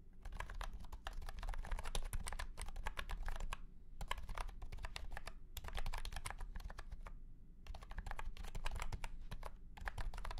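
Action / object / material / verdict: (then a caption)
tap / plastic keyboard with round keycaps / plastic / none. A white and pink cat-shaped keyboard with round plastic keycaps and a hollow plastic case is typed on with the fingertips of both hands. Quick, bright plastic clicks come in rapid bursts separated by short pauses, each tap dying away almost instantly. A steady low hum runs underneath throughout.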